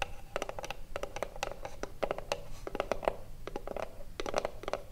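Long blue nails scratch and tap quickly across the front face of a small, hollow wooden cigarillo box. The result is a dense run of short, dry clicks over a soft scratching texture, each with a hollow woody tone around 630 Hz that dies away almost instantly.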